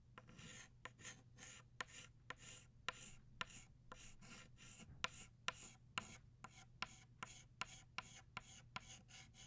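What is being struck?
Chalk stick on a chalkboard.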